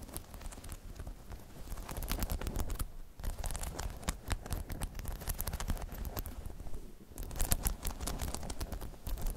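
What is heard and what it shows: Long metallic nails on both hands tap and scratch the spikes of a hollow, spiky rubber half-dome balance pod, making a dense, rapid patter of short clicks and scratchy rasps over a soft, hollow low thump. The tapping runs steadily, with brief lulls around 3 and 7 seconds before it picks up again.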